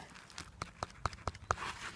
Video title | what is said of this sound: Searching for Spring and Grace Dieu Priory - Charnwood Forest | sounds like wood sounds absolutely packed